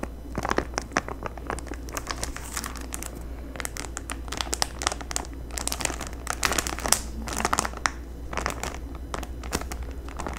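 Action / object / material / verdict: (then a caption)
scrape / gel window clings in a clear plastic bag / plastic film / none. Long nails crinkle, tap and rub a clear plastic bag sealing a sheet of Halloween gel window clings with a paper header card, held up in both hands. Dense, bright crackling and sharp clicky taps come in irregular bursts over a steady low hum.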